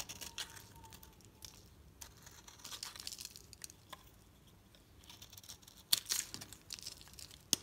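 A metal utility knife blade is scraped across a solid green bar of soap held in the hand, shaving off crunchy layered curls. Soft, bright scraping and crinkling comes in irregular strokes, with sharp louder crunches near the end.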